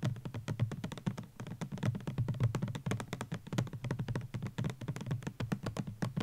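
Fingertips and nails tap quickly on a white plastic Garnier Ambre Solaire 200 ml sunscreen bottle with an orange cap, standing on a blanket, hollow and likely filled. A steady stream of fast, soft, hollow thuds follows, low and round in tone with faint brighter clicks from the nails, each dying away almost at once.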